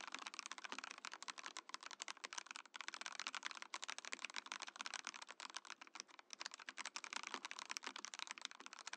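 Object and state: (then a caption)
Mechanical keyboard being typed on. A compact Mojo68 mechanical keyboard in a clear acrylic case with cream and orange plastic keycaps is typed on steadily with the fingertips of both hands. The result is a dense stream of short, crisp clicks and clacks that are bright and high with no low rumble, each one dying away almost instantly.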